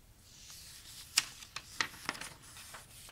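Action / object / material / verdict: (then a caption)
scrape / thin glossy printed paper catalogue / glossy paper / none. Fingertips with short nails rub across the thin, glossy printed pages of an open toy catalogue lying flat, then turn them. A soft, bright papery hiss runs throughout, broken by five sharp, crisp crackles and snaps.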